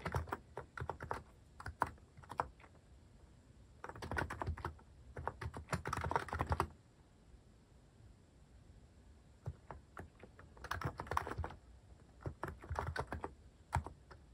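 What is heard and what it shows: Fingertips type on a cream mechanical keyboard fitted with sculpted plastic cat and paw keycaps. Bursts of quick, clacky keystrokes with a low thock and short, dry clicks alternate with brief pauses and scattered single taps.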